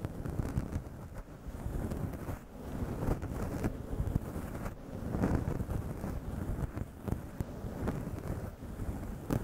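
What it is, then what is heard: Faux fur microphone windscreen. Long yellow acrylic nails scratch and rub a fist-sized grey faux fur microphone windscreen, soft synthetic fur over a hollow foam mic body, in staggered strokes. The result is a steady, muffled, wind-like rumble, heavy in the low end with almost no high content, broken by soft brushing swells and brief scratchy bursts.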